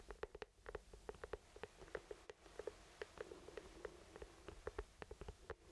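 An orange hollow plastic traffic cone with lettering is held in both hands and tapped with the fingertips. About 22 quick, quiet, hollow taps with a pitch near 434 Hz come in uneven runs, each dying out almost at once. A low background hum sits underneath.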